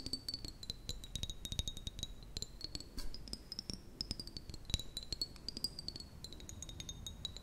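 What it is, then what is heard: Glass jar. Long nails tap quickly and unevenly on the sides of a small, clear, apparently empty glass jar with a metal lid. The result is a dense run of short, sharp clicks and clinks over a steady, faintly wavering high ringing tone, with a soft low thud under each tap.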